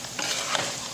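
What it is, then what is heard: Well-fried rice, ready. Rice frying in oil is stirred in a pan, giving a steady, bright crackling sizzle that swells as the grains are moved. The sound shows the rice is already well fried and ready for the oil to be removed.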